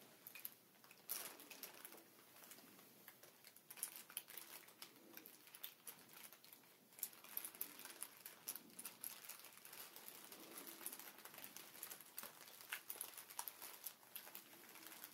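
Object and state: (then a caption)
Plastic air pillow packaging. A large sheet of clear inflated plastic air-cushion packaging with hollow air-filled chambers lies flat on a table while fingertips and nails tap and scratch across its surface with both hands. Quiet, dense crinkly patter and scratching with many short, bright, sharp clicks fills the clip continuously, with little low end.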